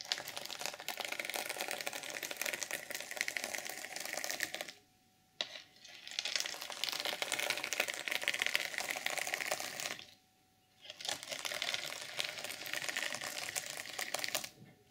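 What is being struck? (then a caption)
Plastic sequin fabric cover. Long purple nails scratch and flip the plastic sequins on an open, reversible sequin fabric journal cover, mostly silver side up. A dense, bright, crackling rasp of tiny clicks runs continuously, broken by two short near-silent pauses around 5 and 10.5 seconds.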